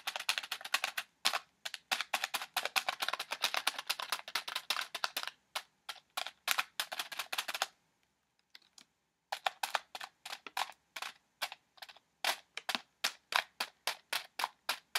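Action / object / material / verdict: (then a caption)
tap / plastic foil candy pouch / plastic foil / none. An orange Reese's Pieces plastic foil pouch, filled with candy, is held up and tapped on the front with fingernails. The result is rapid, crisp, bright clicking taps in dense bursts, with a brief pause in the middle before the fast tapping resumes.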